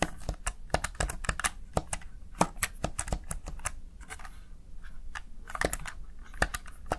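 Fingertips with short nails press and tap the backlit mechanical-style keys of a Razer Tartarus Chroma, a small hollow black plastic gaming keypad. Quick, dry clicks come in uneven bursts, each key strike a short bright snap over a soft low thud with almost no ring.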